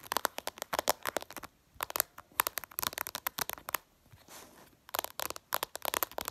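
Long purple nails tap quickly with several fingers on a flat glass smartphone screen, producing rapid bursts of sharp, dry, bright clicks with no ring. The clusters of taps are broken by short pauses, one filled by a faint soft hiss.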